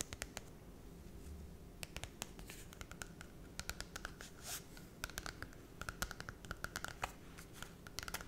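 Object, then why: Glossy cardboard book cover. Long red nails scratch and tap the glossy holographic cardboard cover of a small Cinderella children's book. Quiet, dry scraping runs throughout, broken by sharp, bright clicks and taps that cluster more densely toward the end.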